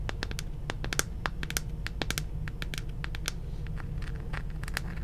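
Long nails tap and scratch across the hollow plastic shell of a hand-sized, glowing purple spherical moon lamp. The result is a rapid stream of short, dry clicks and bright, crackly scratches that die away almost instantly, heard over a steady low rumble.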